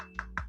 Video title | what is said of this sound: Datang langsung menantang🔥 - Unboxing MEIZU Mblu 21 Indonesia 🇲🇨 ‼️ | lumayan kopong ya di bagian beberapa sisi itu